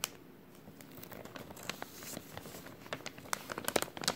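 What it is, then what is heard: Thin plastic bag crinkled. A thin, empty clear plastic bag with a white label is crinkled and folded between fingers. It gives quiet, uneven crackling that builds into sharper, bright crinkles and snaps toward the end.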